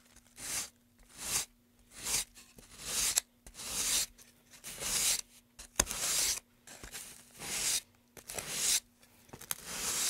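A gloved hand rubs sandpaper back and forth inside the carved groove of a long, solid, light-wood carved pine tray, sanding it. Each stroke makes a soft, bright, hissing rasp with almost no low end, separated by short pauses. The strokes repeat in a steady rhythm throughout.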